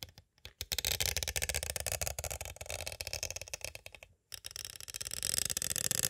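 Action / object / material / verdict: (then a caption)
tap / clear plastic cassette case / plastic / none. Two green plastic stick tools tap slowly and scrape lightly along the edges of a small, hollow, clear plastic cassette tape case. The result is a dense run of short, dry, bright clicks and scratchy rasps with almost no ring. The sound stops briefly just past the four-second mark, then resumes with brighter scraping.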